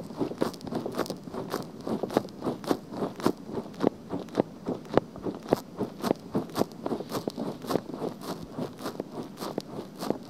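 Long painted fingernails scratch across the hollow, pink soft silicone ear cover of a black binaural microphone. Close, crunchy scratching strokes come in quick, uneven bursts of about two per second, with a dull low-mid body and a faint bright hiss. Each stroke stops dead with no ring.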